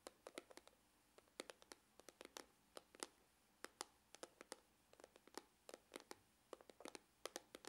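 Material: Faux leather.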